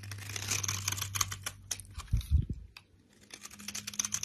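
A utility knife blade cuts the surface of a solid brown soap bar held in hand into small cubes and scrapes them off, letting crumbly flakes fall. Quick, crisp scraping and crackling clicks sound bright and dry over a low steady hum, with a few soft, deeper thuds near the middle before the scraping resumes.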